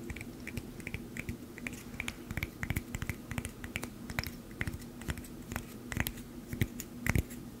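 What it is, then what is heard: Glass bottle of plastic buttons. Long painted nails tap and handle a small cork-stoppered glass bottle filled with green plastic buttons, and it is shaken so the buttons rattle inside. The result is a steady run of quick, sharp clicks and bright glassy ticks over a low, constant rumble, with a few louder knocks near the end.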